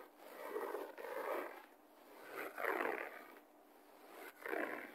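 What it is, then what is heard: Carpet scratched by fingernails. Fingertips and nails of both hands scratch the fibers of a low-pile beige carpet on a solid floor, with the person lying on the floor. Soft, rasping scrapes come in irregular swelling bursts, mostly in the low-mid to mid range with little bright hiss. Quieter gaps fall between the strokes.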